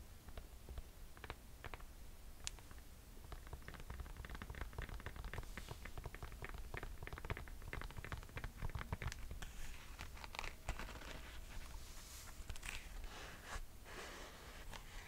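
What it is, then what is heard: Mesh sneaker with foam midsole. Long nails tap and scratch the white foam midsole and mesh upper of a mint mesh Nike sneaker. The result is a quiet, steady stream of short, dry clicks and soft scratchy rasps over a low background rumble. The scratching grows brighter and hissier toward the end.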